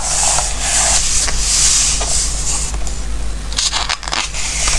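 Fingertips slide and rub over the coated pages of an open glossy-paper recipe book between page turns. Soft, bright papery swishes and crackles rise and fall in overlapping strokes over a steady low hum. The rustling runs nearly continuously, with a few sharper crinkles near the end.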